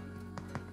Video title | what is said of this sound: Классический тартин по рецепту Чада Робертсона. Пышный и хрустящий хлеб на закваске. | a dull thud when tapping on the bottom of the bread tells us that the bread is completely inside baked